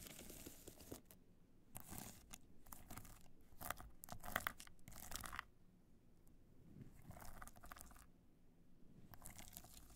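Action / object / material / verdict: scrape / hard-shell clutch bag covered in rhinestones / rhinestones / none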